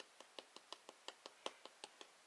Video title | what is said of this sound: Easy Homemade Bread Grandma's Water Bread 4 loaves / No milk /Rolls Cinnamon Rolls Pizza Crust More! | See how hollow that sounds?